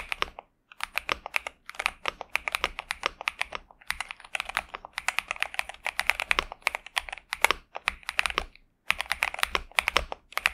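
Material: Plastic.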